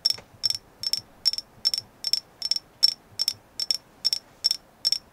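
Fingertips or nails tap on a carved agate moon goddess figure in thirteen evenly spaced bursts, each made of a few quick clustered taps. The taps are bright, dry and clicky with almost no ring, set against near silence.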